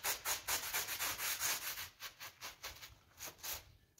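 A gloved hand scrubs the flower area of a pink PVC coil door mat with a small blue bristle brush in short strokes. Each stroke makes a bright, hissy scratching burst, repeating rapidly and loosely in rhythm. The strokes grow quieter and sparser toward the end.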